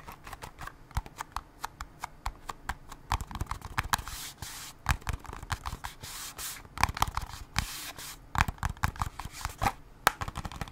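A small cardboard Band-Aid box with a Mickey Mouse design is tapped rapidly with long nails, producing dozens of quick, dry clicks with almost no ring. Brief stretches of bright, hissy scratching come between the bursts of taps.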